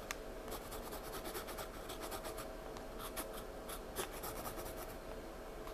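Slow pencil strokes rub graphite into a paper sketchbook page while the hand rests on the page the whole time. A quiet, continuous scratchy rasp runs steadily under a faint low background rumble, with occasional brighter, sharper scratches standing out.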